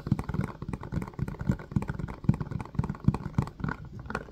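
Fingertips tap and press the hollow domed cells of an empty, hand-sized blue silicone ice cube tray set in a white hard-plastic frame. The result is a quick, irregular patter of soft, dull, low thuds, each dying away almost instantly with no bright ring.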